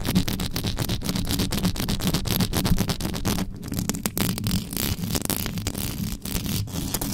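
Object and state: Metal microphone grille scratched with nails.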